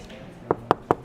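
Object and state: Plastic motorcycle fuel tank.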